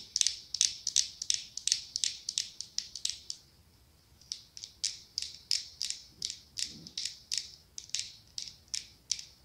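Long acrylic nails tap and scratch a small ribbed, pumpkin-shaped glass candle jar filled with orange candle wax. About 37 crisp, high-pitched clicks land in a quick, uneven rhythm, with a brief pause near the middle. Each click is bright and dies away almost instantly.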